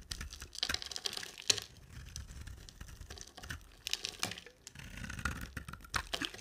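A solid, rectangular, dry white cream soap bar with a black glitter coating is held in the hand and shaved with a box-cutter blade, carving and scraping its surface. Crisp, bright scraping and crackling strokes come in irregular bursts with short, dry ticks between them.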